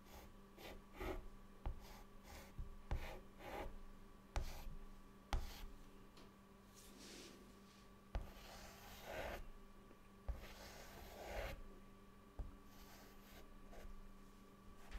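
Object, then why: Chalk stick on a chalkboard. A white chalk stick held in the fingertips draws small shapes on a flat, dark, solid chalkboard. Soft, breathy scratching strokes mix with nine sharp taps, all heard over a quiet, steady low hum.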